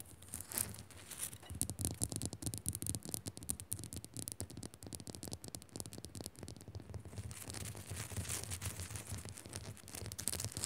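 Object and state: Salt crystal lamp.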